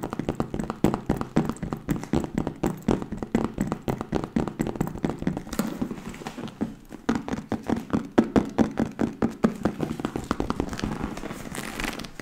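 A leather bag is tapped quickly and continuously, giving a steady stream of dull, soft thuds centered in the low-mid range with very little brightness. Each tap dies away almost instantly, so the rhythm stays dry and close, like a light patter of knocks.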